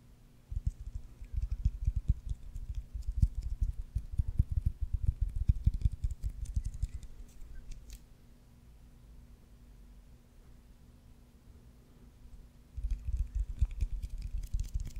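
Fingertips and nails tap and scratch the leather cover of a solid white baseball with red stitching, held up close to a microphone. Dense, rapid, muffled low thumps with faint bright scratchy ticks run for about seven seconds, then stop, leaving only a quiet steady hum. The tapping resumes near the end.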